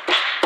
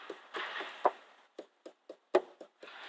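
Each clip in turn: First: Two light taps set off a dry, buzzy plastic rattle: a car tail light sitting loose in its mounts. Second: Light fingertip taps give short, dull plastic clicks near 600 Hz that stop cleanly: the tail light sits tight.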